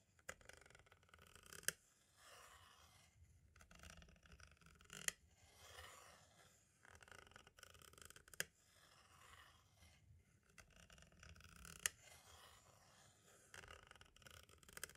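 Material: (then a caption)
Plastic. A green-and-black striped tool taps and scratches along the lower left edge of a hollow plastic compact cassette shell. Soft, bright, papery scratching comes in irregular bursts, broken by occasional sharp, dry clicks that stop almost instantly.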